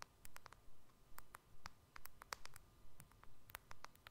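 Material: Glass.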